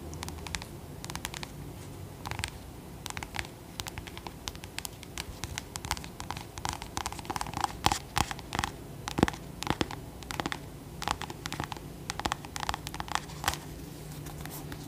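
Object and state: Acorn squash.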